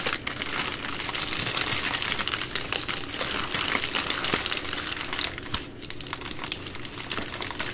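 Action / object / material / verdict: tap / soft plastic-wrapped wipe packs / soft plastic / none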